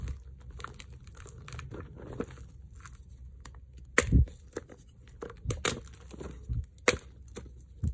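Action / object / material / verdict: scrape / magnesium carbonate chalk blocks / chalk / none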